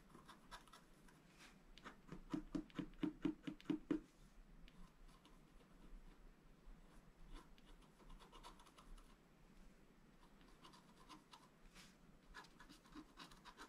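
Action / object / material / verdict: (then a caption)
scrape / black-coated scratch-art paper and wooden stylus / coated paper / none. A wooden stylus held in the fingers scratches the black coating off a thin, solid scratch-art paper sheet, a book page lying flat on a table. Soft, dry scraping strokes repeat at an uneven pace, with a burst of louder, quicker strokes early on before fading back to quieter, intermittent scratching.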